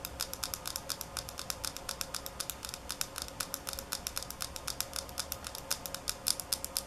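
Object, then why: Small glass bottle, partly filled. A small, partly filled glass nail polish bottle is held close up and tapped and scratched with long nails. Rapid, bright clicking taps come in an uneven run, some harder and some softer, over a faint scratchy hiss. Each tap is sharp and dies away almost instantly.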